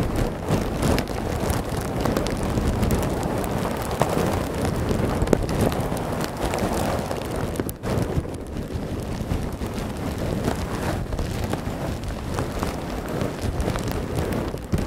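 Fingertips and nails squeeze and scratch a large, clear plastic bag that is soft and full of small white polystyrene foam beads, resting just behind the microphone. The result is a dense, continuous crackling rustle weighted toward the low and mid range, with the beads shifting in a steady grainy wash. There is a brief dip at about 7.8 seconds before the rustling resumes at a similar level.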